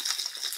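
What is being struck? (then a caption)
Glass jar of soil, water and small stones. A jar holding a light grey soil sample mixed with water, with small stones and sand-like sediment inside, is shaken again. The stones rattle and click against the jar amid a wet, high-pitched swishing of water.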